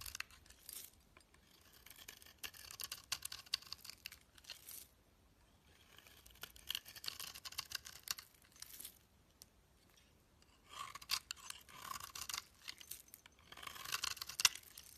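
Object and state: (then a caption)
Bar soap shaved with a blade. A solid pale green bar of soap, held in the hand, is shaved with a metal snap-off utility blade. It gives bright, crisp scraping and crackling in several bursts, with short quiet pauses between passes. Each shaving stroke is full of quick, high-pitched ticks with almost no low end.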